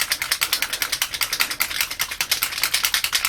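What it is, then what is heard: Ink bottle with a loose mixing ball. A bottle of gold alcohol-ink mixative with a small mixing ball inside is shaken to break up the pigment settled at the bottom, producing a fast, bright rattle of the ball clicking against the bottle, about 27 sharp clicks in quick succession. The clearly audible rattling shows the ball is moving freely and the contents are being mixed.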